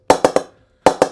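A ball taps high on the blade of an already knocked-in Laver and Wood PP01 Signature English willow cricket bat six times, in two groups of three. Each tap gives a sharp, pitched wooden ping around 500 Hz that dies away quickly. The bat has a really nice ping at this high position.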